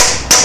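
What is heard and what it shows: A metal seal driver, made from a machined old piston, is hammered against the aluminium extension housing of a Ford BTR M74 4-speed automatic transmission while seating the rear seal. A bright, ringing hammer strike rises over the fading ring of the one before it. The changed sound of the driver hitting the housing itself shows the seal is fully seated.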